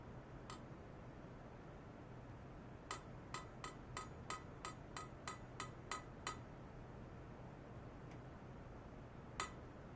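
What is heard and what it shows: A long polished stainless steel pipe or rod, about 3 cm thick and likely hollow, lies horizontally on white foam-net supports on a lab bench with sensor cables attached, and is tapped along its length with a thin metal rod. After a faint early tap comes a quick run of eleven sharp metallic clinks with a mid-high ring and bright overtones. Each dies away almost at once, and one last louder tap comes near the end over a steady low hum.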